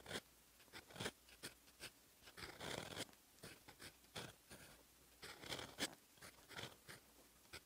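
A metal fountain pen nib, held in the fingers, scratches across a lined paper notebook page lying flat on a solid desk, writing in black ink. Quiet, irregular bursts of bright, dry scratching come stroke by stroke with short pauses between them. There is a longer continuous scrawl near the three-second mark.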